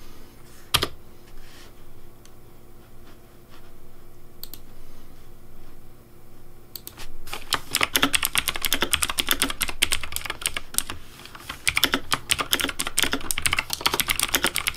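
Fingertips press and tap the keys of a pink plastic Razer Deathadder V3 Pink mechanical keyboard with RGB lighting, starting with sparse, scattered clicks. After about seven seconds they break into continuous fast typing. The keystrokes are short, bright clacks with a dull low thump underneath and almost no ring.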